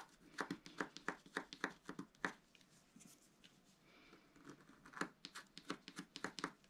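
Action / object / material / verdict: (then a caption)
scrape / scratch-art card scratched with a wooden stylus / coated paper / none. A wooden stylus scratches a wide stripe across a black-coated scratch-art card lying flat on a table, using rapid back-and-forth strokes. Quick, dry, papery scratches come in short bright bursts, easing into softer rubbing midway before the sharp strokes pick up again.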